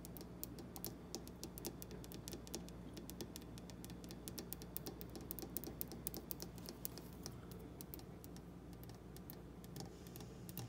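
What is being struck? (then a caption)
Granite countertop tapped with fingernails. Long black-painted fingernails tap and scratch across a large, solid, polished granite kitchen countertop. The result is a rapid, uneven run of sharp, dry clicks with short scratchy strokes over a steady low hum.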